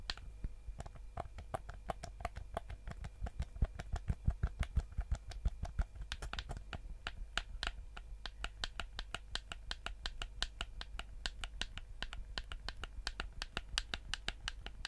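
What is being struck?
Plastic game controller.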